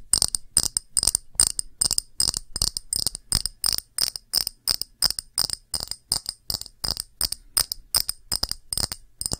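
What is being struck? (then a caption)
Small clear glass dish. Long nails tap a small, round, empty clear glass dish in quick, uneven bursts of clicks. Each tap is sharp and bright, with a thin high ringing tone that dies away almost instantly, and there is very little low end.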